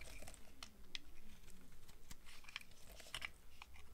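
A box cutter blade shaves thin slices from the end of a solid rectangular bar of dry, purple striped soap held in one hand. Quiet, dry scraping and crisp, crunchy carving strokes come in quick succession, each a brief bright snap over a steady low hum.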